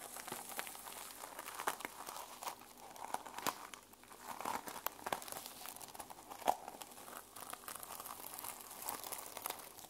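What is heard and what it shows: Long nails scratch across the teal plastic sequin cover of a small handheld sequin-covered journal, flipping the sequins over. The result is a quiet, continuous crinkly scratching with many tiny dry clicks and rustles, bright and with no low-end body.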